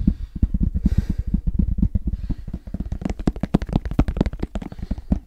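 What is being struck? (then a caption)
Semi-rigid fabric-covered headphone case. Fingertips tap fast on the fabric-covered surface of a medium-sized black, semi-rigid, hollow hard-shell headphone case held in both hands. The result is a rapid stream of about 31 short, dull, low thuds with a hollow tone near 184 Hz and almost no ring.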